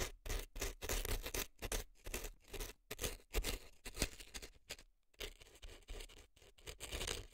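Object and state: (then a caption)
Dry floral foam scraped in a silicone ear. An earpick scrapes dry floral foam packed into the canal of a left silicone elf ear. Short, dry, crackly scratching strokes come in quick bursts with brief gaps and a near-silent pause around five seconds. The texture is crisp and bright over a soft low rumble.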